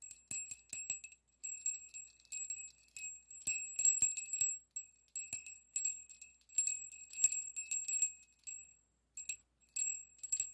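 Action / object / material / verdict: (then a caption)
shake / small brass bell with clapper / brass / none. A small hollow brass bell with an internal clapper is lifted by a yellow pipe cleaner and shaken repeatedly by the fingers, while a second bell stays untouched. It gives quick, bright, high tinkling rings in short bursts separated by brief pauses, each ring fading almost at once.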